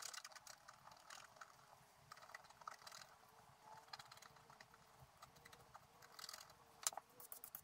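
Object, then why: Scratch art paper scraped with a wooden stylus. A wooden stylus scratches the black coating of a scratch art sheet lying flat, working around a flower area with rapid, short strokes. The quiet, bright, dry scratching comes in dense bursts, with a sharper scrape near the end and a faint steady hum underneath.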